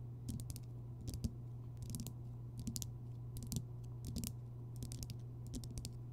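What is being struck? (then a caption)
Rock salt lamp. Long fingernails tap and scratch across the rough, crystalline surface of a large, solid Himalayan rock salt lamp glowing orange from a bulb inside. Irregular clusters of short, bright clicking taps and scratchy ticks rise over a steady low hum, each tap dying away almost instantly.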